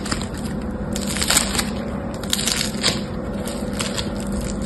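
A yellow-green lump of foam bead slime (floam) is held in both hands while fingertips and nails fold, press and squeeze it. This produces a continuous crunchy, crackling texture with bright bursts of popping. A faint steady low hum runs underneath.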